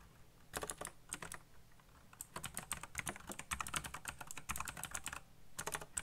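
Fingertips type fast on a backlit black plastic mechanical keyboard. Rapid bursts of bright, crisp key clacks, each dying away almost instantly, are separated by short pauses, with a low thud under each key press.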